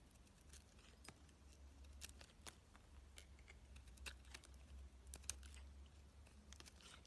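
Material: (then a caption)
Soap. A solid pink bar of soap held in the fingers is scraped and shaved with a metal box-cutter blade, breaking flakes off its surface. Quiet, dry scratching and crackling is heard as a steady stream of short bright ticks, with a few sharper snaps standing out, over a low, constant hum.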